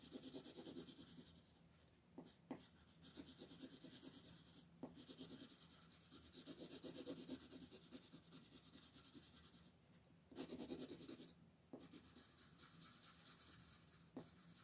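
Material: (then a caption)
Paper. A purple colored pencil shades a peacock on a flat paper coloring book page resting on a wooden table, rubbing back and forth while a long-nailed hand steadies the sheet. Soft, scratchy, brushy strokes repeat in quick bursts with short pauses and a few faint taps.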